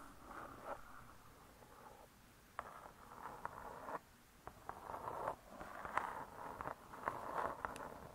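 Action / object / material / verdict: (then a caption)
tap / cardboard-covered spiral-bound book / cardboard / none. Long nails tap and scratch across the cardboard cover of a spiral-bound hardcover cookbook, making soft, quiet bursts of mid-range rustling broken by sharp little clicks. The sound pauses briefly when the hands are lifted, then the tapping resumes in short clusters.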